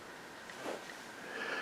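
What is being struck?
Nothing is struck.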